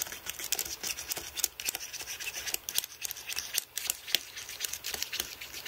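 Fingertips press and rub over the plastic keys of a white aluminium-framed computer keyboard while cleaning it with Blu-Tack. The result is a rapid run of bright, clicky, scratchy taps with almost no low end, each dying away almost instantly.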